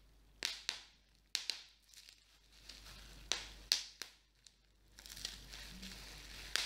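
A small piece of clear plastic bubble wrap is held in the hands while individual bubbles are pinched and popped with fingertips and nails. Sharp, bright pops snap out at irregular intervals, each dying away quickly. Soft crinkling and rustling of the plastic fill the gaps, growing into a denser crackle near the end.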